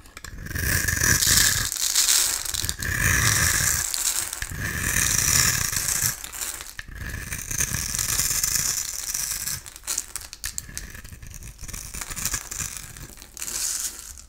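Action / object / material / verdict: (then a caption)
scrape / bar of soap scraped with a metal blade / soap / none. A solid oval blue bar of soap with a textured surface is held in hand and shaved with a metal utility-knife blade, giving off crumbly shavings. Rapid, bright, crackly scraping comes in long bursts, softening after about ten seconds before a final louder pass.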